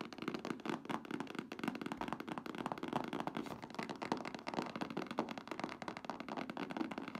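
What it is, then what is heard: Full cardboard box. Long nails and fingertips rapidly tap and scratch the sides of a medium printed cardboard box for a car top cover, full with the product. The result is a dense, continuous stream of dry, hollow taps with almost no ring, mixed with papery scratching across the whole clip.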